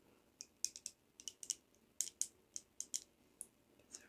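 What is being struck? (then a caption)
Metal perfume bottle cap. A heavy brushed metal perfume bottle cap is tapped about fifteen times in an uneven rhythm. Each tap is a short, bright, high-pitched click that dies away almost instantly, with nothing in the low end.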